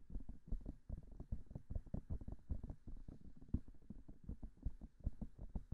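Long manicured nails tap rapidly on the silicone ears of a binaural microphone. The result is a quiet, uneven stream of soft, dull thumps at about two to three per second, almost entirely low in pitch with very short decay and no bright ring.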